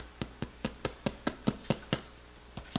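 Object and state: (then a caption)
Hollow-sounding baked bread loaf. A homemade white bread loaf, just out of the air fryer after 45 minutes, is tapped 11 times in a steady series of short, dry, hollow knocks with a low thump. The hollow sound shows the loaf is baked through.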